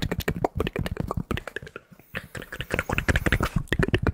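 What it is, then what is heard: Polyester fitted baseball cap. Fingertips tap and scratch the stiff front panels of a hollow, empty navy New York Yankees polyester fitted baseball cap with an embroidered patch. A rapid string of short, dull, low-heavy taps is briefly interrupted by a quieter pause near the middle, then picks up again with brighter scratching mixed into the tapping.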